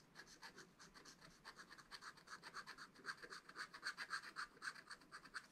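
A wooden stylus scratches the black wax coating of a flat scratch-art paper page in a spiral notebook, working around a leaf and berry area. Continuous scratching comes as a quick, fairly steady run of about 32 short, dry strokes with a bright, hissy rasp centered near 1.6 kHz. The strokes grow slightly louder toward the end while staying quiet overall.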